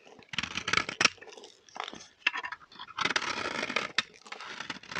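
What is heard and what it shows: A metal blade scrapes shavings off the surface of a solid, dry green bar of soap held in the hand. The sound is bright and dry, with bursts of crisp scraping and shaving separated by short pauses.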